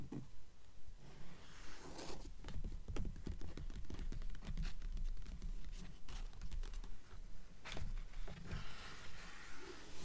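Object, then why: Open paper book pages. Long nails and fingertips scratch and tap the paper pages of an open blue book resting on a table. Dense, dry scratching and brushing strokes mix with soft, quick taps in an uneven, steady rhythm, with brighter rasping swipes standing out over a low, muffled body.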